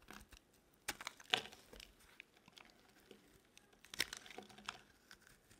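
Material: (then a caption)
Soap. A metal blade carves chunky shavings from a solid orange bar of dry soap held in the palm. Quiet, bright, dry crunching and scraping comes in irregular crisp bursts, with the sharpest cuts near the middle and toward the end. Almost no low end is heard.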